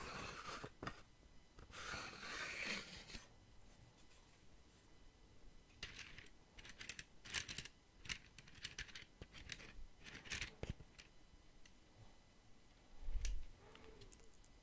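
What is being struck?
Small wooden box with sliding wooden lid.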